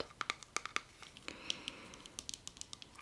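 Fingernails tap and scratch the label and lid of a small round plastic clay-mask jar turned on its side. About twenty quiet, sharp, bright clicks come in an uneven patter, with a soft scratchy rustle between them. Each tap is dry and dies away almost instantly.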